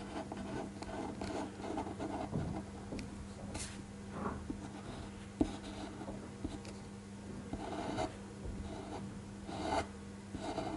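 A black fineliner pen traces the second figure of a pencil drawing on a flat white paper sheet resting on a desk, using rubbing strokes. Quiet, steady scratching and rubbing of the pen tip on the paper is heard, with a few sharper ticks and a low steady hum underneath.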